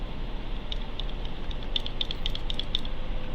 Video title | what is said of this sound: random 800 count box rummage pack box display | it rattles if you can hear it when I shake it